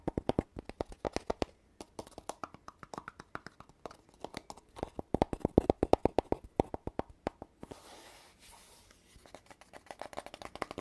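Fingertips and nails tap the metal-rimmed end cap and the body of a hollow red cardboard tube with metal end caps, lying horizontally. Many quick, dry, hollow taps with a mid pitch come in uneven bursts. A softer brushing hiss fills a short pause before the tapping resumes.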